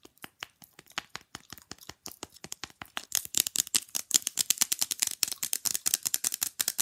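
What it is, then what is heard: Fridge magnet tapped with fingernails. A small, flat, rectangular fridge magnet with a glossy printed image of two figures is held up and tapped quickly with long glittery nails. The result is a rapid stream of dry, bright clicks with no ring, growing louder and sharper about halfway through.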